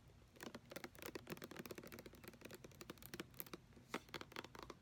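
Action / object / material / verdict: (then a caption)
tap / plastic lotion pump bottle / plastic / none. Fingernails tap rapidly on a white plastic lotion bottle with a brown pump, which appears full, striking its body, base and pump area. The result is a quiet run of short, dry clicks with brief ticks of bright, high scratchy detail and a light hollow plastic knock, each dying away almost instantly.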